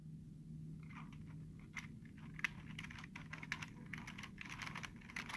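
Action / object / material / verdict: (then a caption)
tap / plastic computer keyboard keys / plastic / none. Short fingertips tap and press the hollow keys of a black plastic computer keyboard, making a run of quick, dry, clicky taps with a bright, papery edge. A steady low hum sits underneath the typing.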